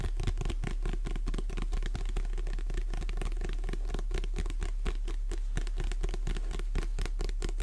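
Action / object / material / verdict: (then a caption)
tap / paperback book, paper cover / paper / none. A Jurassic Park paperback book is held in both hands while long nails tap and scratch across its cover. A rapid, uneven stream of soft, dry clicks and scratches mixes with a steady low hum.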